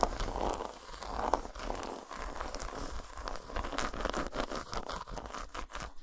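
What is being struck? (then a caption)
Dark chocolate bar tapped and scratched with fingernails. Long nails rapidly tap and scratch a solid, segmented dark chocolate bar lying flat on a towel. A dense stream of dry, crinkly scratching mixes with quick, sharp taps, centered in the mids around 700 Hz over a faint low rumble. Brief bright clicks stand out toward the end.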